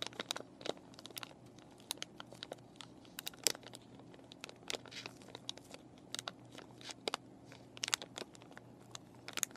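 Fingernails scratch and fingers crinkle a clear plastic and cardboard paintbrush package with the brushes still inside. The result is a quiet, steady run of sharp, bright crackles and crinkles with very short decays over a faint, constant low hum.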